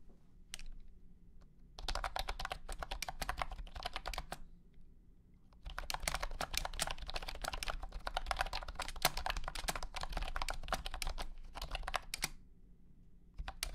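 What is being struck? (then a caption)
Plastic keyboard with hexagonal keycaps. A $100 blue-and-white honeycomb keyboard with hexagonal plastic keycaps and a hollow plastic case, lit by blue light, is typed on with the fingertips of both hands. Rapid, clicky keystrokes come in bursts, with a short run early, a longer stretch from about 2 to 4 seconds, then a sustained flurry from about 6 to 12 seconds. Each click has a bright, short tick over a low, hollow thud, separated by brief quiet pauses.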